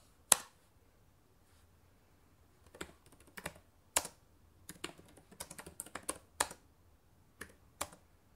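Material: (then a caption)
Plastic. Long painted nails type and tap on the plastic keys of a black laptop keyboard. Sharp, bright, dry clicks come in irregular bursts with quiet pauses between, some strokes landing louder than others.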